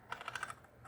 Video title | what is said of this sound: Is your Uncle this CRAZY? Uncle Henry's Machete Combo Set | It sounds hollow.